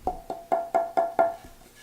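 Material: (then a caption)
Spruce. A spruce violin top plate, already joined and roughed out, is held and tapped six times, each tap giving a short woody knock with a clear ring near 680 Hz. The clear ring marks it as a good top, chosen so its tone will suit the violin's back and sides.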